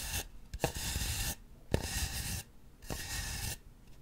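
Long acrylic nails scratch and rub a large white polystyrene foam ball fitted over a microphone, with a face held close to it. Three bursts of dry, hissy scraping with bright rasping texture start with a low thump and stop abruptly, separated by short quiet pauses.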